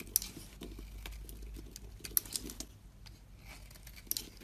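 A utility knife blade slices and scrapes a solid yellow bar of soap held in one hand, raising curls. Quiet, bright, crisp scraping and soft patter are punctuated by a few sharp, short clicks over a low background hum.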